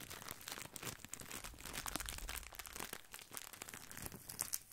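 A small flat bundle of wavy grissini in thin clear plastic wrap is held near the mic and rubbed and scratched with fingertips. The result is a steady run of bright, dense crinkling and crunchy scratching with quick, dry rustles.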